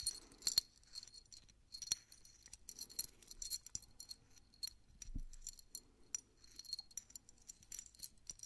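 A small solid metal Mickey Mouse head keychain charm on a steel split ring is held in both hands while fingertips twist and work the split ring. The charm jingles and clinks against the ring in repeated bright, high-pitched metallic jangles with short, quick decays.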